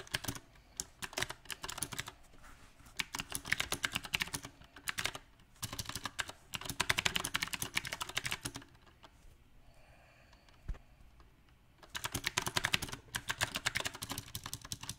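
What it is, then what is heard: Mechanical keyboard with round plastic keycaps. Fingertips of both hands type on a compact backlit mechanical keyboard with round plastic typewriter-style keycaps, producing rapid, bright, sharp clacks with almost no ring. The typing comes in uneven bursts, with a near-silent pause around the middle broken by a single click, before fast typing resumes to the end.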